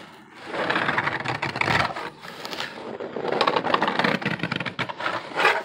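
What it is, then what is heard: Corrugated cardboard box. Fingers scratch and tap the surface of a hollow corrugated cardboard box held close up, making dry, rustling scrapes with bright crackly edges and soft papery taps. The scratching comes in uneven bursts that swell and fade across the clip, with little low end and very short decay.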